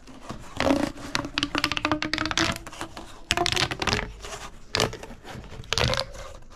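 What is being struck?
Corrugated plastic pop tube.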